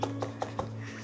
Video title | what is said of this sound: Is there Storm Damage on the Allotment,Harvesting Peppers,Chillis & Squash After the Wind #allotment | you tap it, it sounds hollow